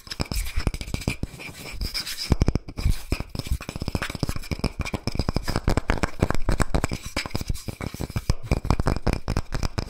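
A round, palm-sized solid wood log slice coaster with a bark edge, held in one hand, is tapped and scratched by fingertips and nails across its cut face and bark rim. The result is a fast, dense stream of short, dry, low knocks with quick scratchy texture, keeping a steady busy rhythm throughout.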